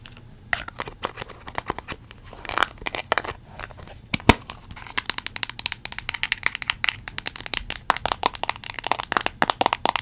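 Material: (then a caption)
Plastic. Long acrylic nails tap and scratch a small yellow plastic Play-Doh tub closed with a green lid. Dozens of quick, dry clicks and scratchy crinkles come in an irregular stream, bright and sharp with almost no low end, each snapping off instantly without ringing.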